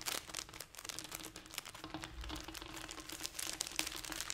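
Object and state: Plastic snack wrapper.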